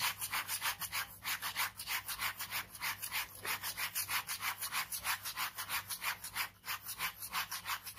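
A ballpoint pen scratches rapid cross-hatching on a white paper sheet in a sketchbook resting on fabric. About twenty quick, bright scratchy strokes follow one another in a steady back-and-forth rhythm, roughly three per second, with almost no low end.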